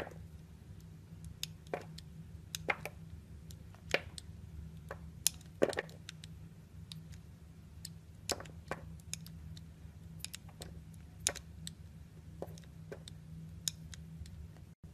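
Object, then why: Glycerin soap bar cut with a blade. A translucent orange glycerin soap bar, held in a hand with long decorated nails, is cut and scraped into slices with a snap-off utility knife blade. Many short, crisp cracking and squishy clicks stand out above a low, steady hum. The bright snaps come in irregular bursts throughout.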